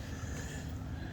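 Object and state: Nothing is struck.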